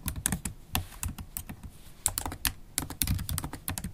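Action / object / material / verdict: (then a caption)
tap / laptop keyboard with plastic keys in a metal body / plastic / none. Long holographic acrylic nails type continuously on a MacBook Pro keyboard with black plastic keycaps in an aluminium body. Quick, dry key clicks with bright nail ticks land in an uneven, rapid stream over low, soft thuds, and each one stops almost instantly.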